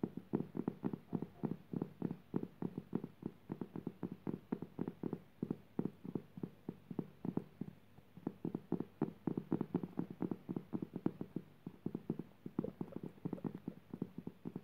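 Long purple nails tap rapidly on a flat, coarse woven jute burlap fabric lying on the floor and scratch across its weave. The result is a fast, steady stream of short, dull, muffled taps centred in the low-mids, with very little brightness and almost no ring after each tap.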